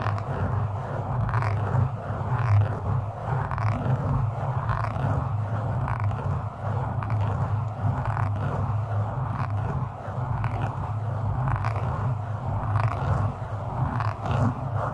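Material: Foam.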